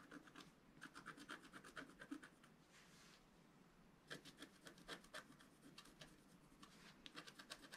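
A pointed wooden stylus scratches a flat black wax-coated scratch art sheet lying on a table, held in place by one hand. Quick, bright, dry scratching strokes come in rapid bursts, broken by a softer, steady rubbing hiss around the middle before the crisp strokes return.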